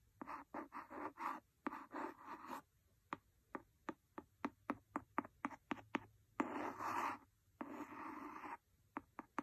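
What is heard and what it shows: A wooden pencil scrapes and scratches the cover of a large, solid, red cloth-covered hardcover book, making rhythmic rasping strokes in the midrange. Between the scratching passages comes a run of short, sharp, dry taps that die away almost instantly, followed by two longer scraping stretches and a few final taps.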